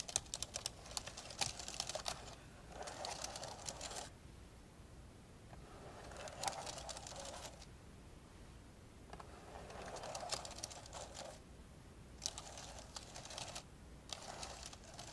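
Fingertips of both hands type on the plastic keys of an old dark grey plastic laptop lying open. Bursts of quick, bright, clicky taps alternate with softer, duller stretches and brief quiet gaps.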